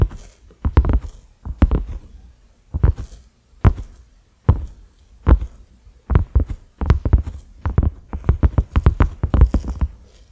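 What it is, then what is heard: Silicone pot lid tapped. Fingertips and nails of both hands slowly tap a cream silicone pot lid with concentric ridges and a black center knob. Each tap is a soft, dull, low thump that dies away almost at once, falling in irregular clusters separated by brief pauses.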